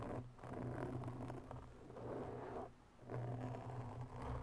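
Long natural nails from both hands slowly scratch around the edges and face of a black round foam microphone windscreen. The scratching comes through as a dense, muffled, low rustling with a steady low rumble underneath and almost no bright content. It swells and fades in slow waves, with brief quieter dips between strokes.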